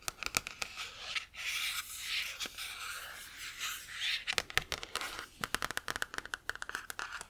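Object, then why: Paperback book with glossy card cover. A medium paperback book, *Tactical Motherhood*, with a glossy card cover over a solid stack of paper pages, is held upright in one hand while long manicured nails scratch and tap the cover. A few sharp taps give way to several seconds of soft, airy scratching strokes across the card, followed by a quick, uneven run of crisp clicking taps. The sound is bright and dry with almost no low end, and each tap stops instantly.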